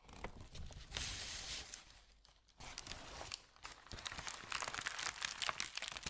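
A thin white paper sheet is smoothed with fingertips, giving a soft, steady bright hiss that fades to near silence. The sheet is then lifted and crinkled by hand, producing a dense run of sharp, irregular crackles and crunches that grow louder toward the end.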